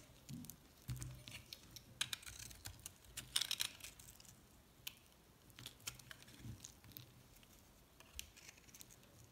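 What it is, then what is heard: Soap bar being shaved. A metal box-cutter blade scrapes shavings off a pink and yellow solid recycled soap bar held in the palm. The clip is a quiet run of quick, dry, bright scraping and crackling strokes, like crisp taps, with a soft low rumble underneath at times. Each stroke dies away almost instantly.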